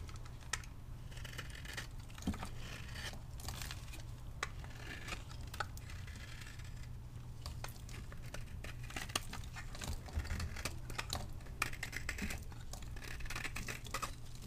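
A solid pink vintage dry bar soap is held in the hand and shaved and cut with a metal blade, its flakes falling onto a marble surface already covered in soap shavings. Dense, dry crackling and scraping with sharp crisp clicks runs throughout, over a steady low hum.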